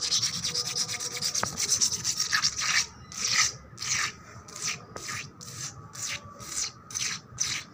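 Long black nails scratch fast across a wet, solid painted concrete floor, giving a bright, hissy rasp. The opening strokes run together in a rapid, dense rub, then slow into separate sweeping scrapes that swell and fade one after another.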